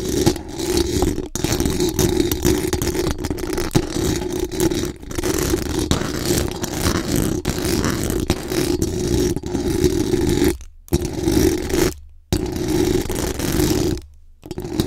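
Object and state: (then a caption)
Metal mesh microphone grille. Very long acrylic nails scratch and rub quickly and aggressively over the hollow metal mesh dome grille of a large condenser microphone. The result is a dense, continuous rasping scrape with a strong low-mid tone around 300 Hz and a bright scratchy edge. Brief dropouts into near silence occur near the end.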